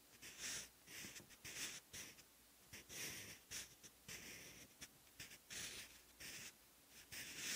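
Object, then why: Graphite pencil on thick paper notebook page. A sharpened wooden graphite pencil writes Korean characters on a thick, textured, lined cream page of an open notebook. The quiet scratching comes in short, bright, papery strokes with brief pauses between them.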